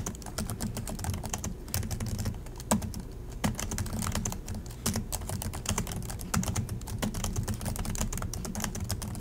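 Both hands type continuously with their fingertips on the plastic chiclet keys of an Acer laptop keyboard. The result is a rapid, steady stream of short, crisp plastic taps over a constant low hum, with a few louder keystrokes standing out.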